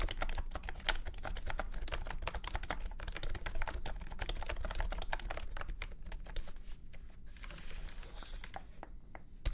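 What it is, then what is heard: Plastic round-key keyboard being typed on. Fingertips of both hands type quickly on a full-size beige and orange plastic keyboard with round typewriter-style keycaps and a hollow body, resting on a grey felt mat. Dense, sharp, bright clicks with a low hollow thud underneath run steadily, each dying away almost at once. Near the end the keystrokes thin out under a soft brief hiss before a last tap.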